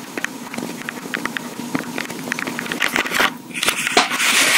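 Long pink acrylic nails tap and scratch the body of a small, hollow, black plastic Tascam portable recorder with metal mic capsules. Quick, irregular, bright clicks sound over a faint low hum. Toward the end, a louder, hissy scratching takes over.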